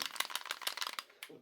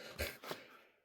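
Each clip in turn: First: loose-fitting pistol slide rattle. Second: tight-fitting pistol, barely rattles when shaken.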